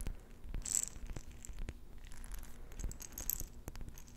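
A glass jar with a metal lid, partly filled with pink beads, is held in both hands and tapped and scratched with long nails on the glass and the lid. The sound is a quiet series of short, sharp clicks and taps, about fifteen, with light scratching and a faint rattle of beads between them.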